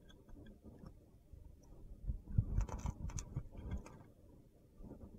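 A box-cutter blade scrapes a solid mint-green bar of soap held in the palm, with a painted fingernail resting nearby. Quiet, low, gritty scrapes and soft crunches build into a denser, louder cluster of crackly strokes in the middle with brief bright edges, then settle back to faint scraping.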